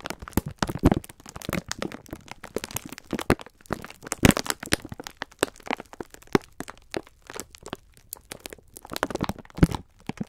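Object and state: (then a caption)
Plastic-wrapped pack of sponge scourers. A full pack of sponge scourers wrapped in clear plastic film is squeezed and rubbed with bare fingertips. The result is dense, irregular crinkling and crunching with many sharp, dry crackles and bursts of louder squeezes.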